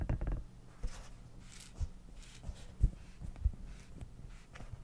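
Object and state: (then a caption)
Silicone cat night light tapped. A small, soft, hollow silicone night light shaped like a cat, with a lamp inside, is held in both hands while fingertips and nails tap and scratch its surface. Dull, low, muffled thumps land at irregular intervals over a faint low hum, with only a little soft scratching in between.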